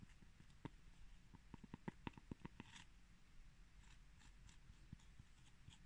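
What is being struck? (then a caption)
Pressed cork coaster. Fingertips and short nails tap and scratch the textured surface of a round, flat, palm-sized cork coaster made of solid pressed cork granules, held in one hand. Quiet, dull taps with almost no ring come in a quick cluster, broken by soft, bright scratching rustles over a low background hum.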